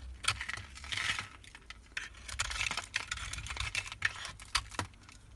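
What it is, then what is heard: Bar soap being scraped with a knife. A utility knife blade scrapes a solid white embossed Marseille soap bar held in the hand, shaving it into powdery flakes. Quick, dry, bright scraping strokes come with crisp crackles and short sharp clicks, each ending with almost no ring, over a faint low rumble.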